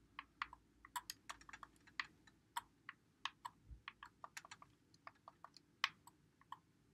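A white Xbox One controller with a hollow plastic body is held in both hands while fingertips press and click its buttons and thumbsticks. About 21 short, dry plastic clicks come at an irregular pace over seven seconds, bright and sharp with a midrange tone near 1.1 kHz. They are quiet overall, with almost no low end, and each click dies away instantly.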